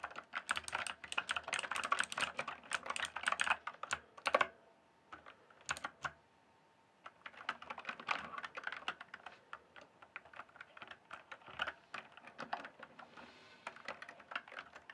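Fingertips type and tap on the plastic keycaps of a full-size RGB-backlit Cyberpowerpc Skorpion K1 mechanical gaming keyboard. Rapid bursts of short, clicky keystrokes run for about four seconds, pause with only a few isolated taps, then resume as a steady, slightly softer stream of typing. The clacks are bright and dry with almost no low end.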